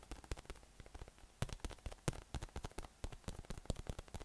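A yellow, hollow, air-filled inflatable PVC massage ball with nubs is held in one hand and tapped from below with the fingertips. It gives a quick, irregular run of soft, dull, low thuds that die away almost instantly, with some taps carrying a faint bright click. The result is a quiet, patter-like rhythm.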